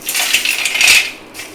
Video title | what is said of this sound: आता घरच्या घरी करा घरच्या घरी हवे तेवढे कुरकुरीत खारे शेंगदाणे - Hasti's Kokani Kitchen | आपले शेंगदाणे थंड झालेले आहेत छान असा कुरकुरीत असा आवाज येतो बघा